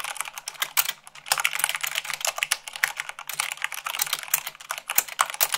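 Fast typing with fingertips and long nails on a mechanical keyboard with white plastic keycaps on a black base. A rapid, uneven stream of bright, sharp clicks and clacks is heard with very short decay, little low end, and a brief lull near the one-second mark.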